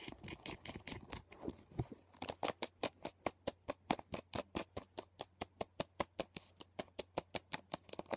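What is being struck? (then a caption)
Hard plastic CD case. Fingers and nails drum rapidly on the top of a closed, hollow hard plastic CD box set case, making a dense, scratchy patter of clicks. The case is then lifted and tapped in a steady, fast run of sharp, bright, evenly spaced taps that stop almost instantly with no ring.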